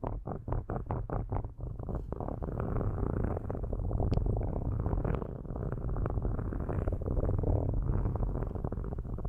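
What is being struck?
Metal microphone grille.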